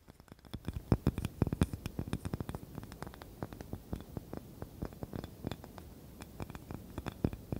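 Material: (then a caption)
Wood. Long nails scratch and tap across a small, light, solid wooden cutting board with a handle. The result is a rapid, irregular patter of short, dry clicks and taps, mostly low and dull with almost no ring. The sounds are spaced by soft, quiet scratching.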